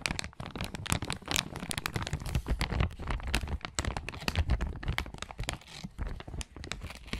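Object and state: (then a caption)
Crinkled plastic zip bag. A small, thin, transparent plastic zip-lock bag, empty and hollow, is held up close to the recorder and crinkled and squeezed between the fingertips of both hands. A steady stream of dense, crackling crinkles and bright snaps rides over low, muffled handling thumps, with each crackle dying away almost instantly.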